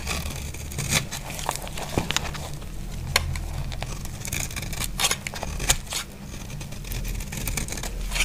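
A solid, dry, cream-white bar of soap held in the hand is scraped and sliced with a utility knife blade. Crisp, bright scraping and crumbly cutting strokes come in quick bursts over a steady low rumble. Each cut ends almost instantly, with no ring.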